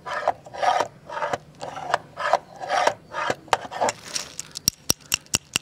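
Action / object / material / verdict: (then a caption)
scrape / jointed wooden crocodile toy / wood / none. A jointed wooden segmented crocodile toy is waved close up and then curled on a tile floor while fingertips rub and wiggle its segments. Repeated raspy wooden rattling bursts give way to a string of sharp, bright clicks.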